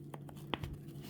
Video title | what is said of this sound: Diamond Painting Comparatif des différentes colles de finition pour DP | Normalement, vous devriez entendre que ça croustille.